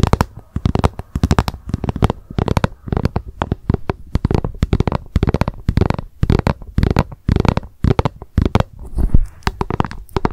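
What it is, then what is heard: Plastic food container tapped with nails. Long nails tap rapidly on the top of a hollow, frosted translucent plastic lunch box lying upside down. The result is a quick run of short, dull, hollow clicks and knocks in uneven bursts, heavy in low thump and dying away almost instantly.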